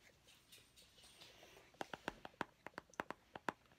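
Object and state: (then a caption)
Plastic mint tin. A small, round, hollow plastic mint tin with a purple label is held in both hands and scratched and tapped with painted fingernails. A faint, soft scratching rustle is followed by twelve quick, dry clicking taps with a hollow tone around 1 kHz and almost no ring.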